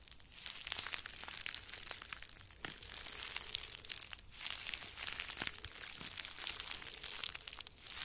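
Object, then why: Plastic bubble wrap. Small wads of plastic bubble wrap, one held in each hand, are crumpled and squeezed with the fingers. A steady, bright crinkling and crackling fills the clip, with sharp little pops and brief dips near 2.6 and 4.2 seconds. The sound is almost entirely high-pitched, with very little low end.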